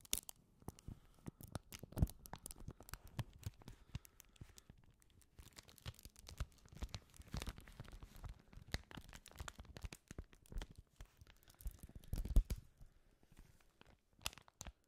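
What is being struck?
Sheet of paper.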